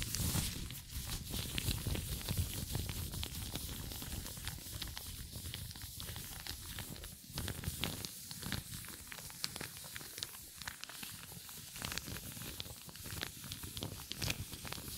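Hands in black nitrile gloves crumple and stretch a pair of loose, empty light blue nitrile gloves. The result is a steady stream of dense crinkling and rubbery rustling with bright, sharp crackles over a low, muffled rumble. The sound stays close and continuous throughout.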